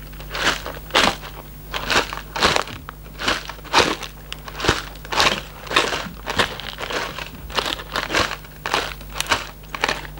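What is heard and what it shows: A closed, hollow Raffaello cardboard candy box is held near the microphone and squeezed and rubbed with fingertips. Dry, crinkling crackles come in uneven bursts of broadband rustle that reach into the bright highs, over a faint steady low hum.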